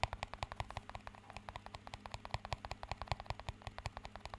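A small, empty, clear plastic cup is tapped rapidly with fingertips and nails, producing a quick, steady run of about forty short, crisp clicks and taps. Each tap dies away almost instantly, leaving light bright ticks over a low, steady hum.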